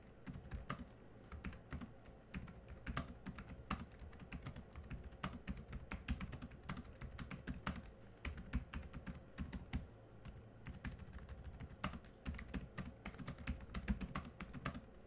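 Both hands type quickly with their fingertips on a laptop keyboard with black plastic keys. The result is a fast, steady stream of short, dry clicks that die away almost at once, with a soft low thud under each keystroke and bright tapping edges on top. This continues for about 15 seconds.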